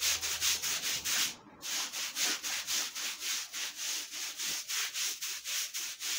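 A long-handled stiff-bristle floor brush scrubs back and forth over a soaked, dirty, flat, thin woven fabric rug with a pattern, lying on a concrete floor. The result is a steady run of bright, hissy, wet scrubbing strokes, with a brief pause early on.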